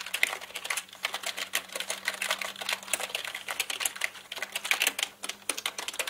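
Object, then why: Plastic mechanical computer keyboard. Both hands type with their fingertips on a black mechanical keyboard with plastic keycaps. Dozens of quick, bright plastic clicks come in a dense, uneven stream with a brief lull near the end. Each click is crisp and dies away at once over a faint steady low hum.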